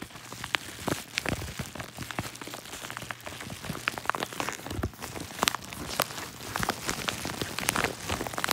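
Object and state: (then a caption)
Paper padded mailer being crinkled. Fingertips press, rub and crinkle the creased yellow kraft-paper padded mailer held up close. The result is a steady stream of dense, dry crackles with sharp, bright clicks and pops scattered throughout, almost like rain pattering on a surface.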